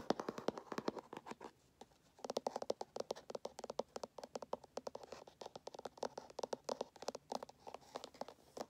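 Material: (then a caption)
Cardboard. Fingernails scratch and tap the surface and edges of a small, hollow, closed kraft cardboard Samsung phone box held in the hands. A quick run of dry, papery scratches and crisp taps with a hollow midrange knock pauses briefly near the two-second mark, then resumes. The sound is quiet, with almost no low end and no lingering ring.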